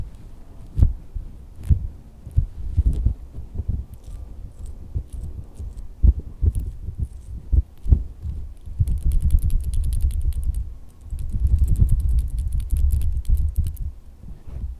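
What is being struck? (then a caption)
Silicone squishy dog toy. A pink, wrinkly, dog-shaped soft silicone squishy toy resting on a fabric bed is tapped and squeezed with fingertips and red-painted nails on a hand wearing rings. Soft, dull low thumps and muffled squishing patter continuously, with a brighter, crackly rustle joining in during the second half.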